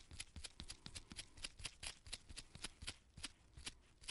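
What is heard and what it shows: Purple nitrile-gloved fingertips repeatedly rub and flick the pale bristle tip of a small artist's paint brush with a gold ferrule and red wooden handle, held close up. About twenty quick, crisp, bright bristle flicks come in an uneven rhythm, each dying away almost instantly, over a soft low rustle.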